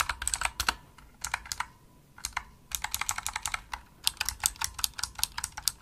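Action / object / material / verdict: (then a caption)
tap / plastic mechanical keyboard / plastic / none. Rapid typing with the fingertips and nails of both hands on a pink full-size Razer opto-mechanical keyboard with plastic keycaps, a solid desktop device. Bursts of sharp, bright, clicky keystrokes come in quick runs separated by brief pauses, and each click dies away almost instantly with little low-end weight.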